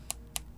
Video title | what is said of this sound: 초호화 헤드폰과 앰프는 어떤 소리를 내길래 이렇게 비싼가?? 야마하 YH5000SE & HA-L7A 제품 리뷰 | 쳤을 때 탱탱탱탱 소리가 좀 나지가 않고요 둔탁한 소리 플라스틱과 비슷한 둔탁한 소리가 나는 것을 볼 수 있어요